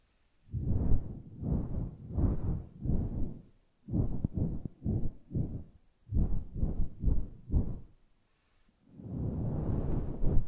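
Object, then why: Synthetic-fur microphone windscreen. Fingertips pat a grey, fluffy synthetic-fur microphone windscreen, then long nails scratch across the fur. The sound is a run of deep, muffled thumping and rustling bursts, nearly all of it low rumble with no bright content, separated by short silences. It ends in a longer, steady scratching rumble.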